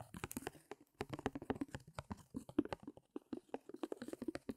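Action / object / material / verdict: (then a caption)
tap / stretched fabric canvas on a wooden frame / canvas fabric / none. Fingernails quickly tap and scratch on the back of a small stretched canvas, its taut fabric pulled over a hollow wooden frame. A quiet, rapid run of short, dry taps, each with a hollow low-mid thump around 300 Hz and a brief scratchy edge, dies away almost instantly, with small pauses between bursts.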